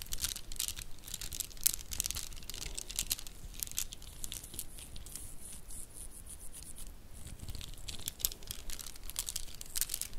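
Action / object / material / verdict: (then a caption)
shake / plastic bead bracelet / plastic / none. A stack of dress-up faux pearl bracelets, made of solid plastic beads in white and champagne tones, is held in both hands and rolled and clacked with the fingertips and nails. The result is a quiet, steady stream of rapid, bright clicks and crinkly rattles, with a few sharper clacks standing out.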